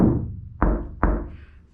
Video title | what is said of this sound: Factory Five 35 Hot Rod Truck Wire Rerouting | sounds solid it's like i'm hitting a rock right there it actually kind of hurts